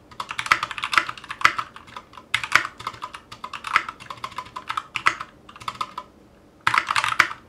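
Fast, continuous typing from both hands' fingertips on a 60% Clueboard mechanical keyboard with Zealios V2 62g switches, a metal case and GMK ABS plastic keycaps, resting on a cutting mat. Dense, short, bright clacks with a crisp mid-high tone and almost no low end. The typing rattles on steadily, pauses briefly near the end, then resumes in a final burst.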